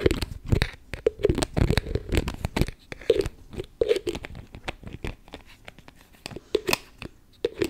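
Long nails tap and fiddle with the clear plastic cap and lid of a beige plastic spray bottle that is likely full. Quick, dry plastic clicks and scratchy taps come in uneven bursts with a hollow mid-low knock and brief quieter gaps. Each tap dies away almost instantly.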